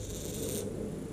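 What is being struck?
Nothing is struck.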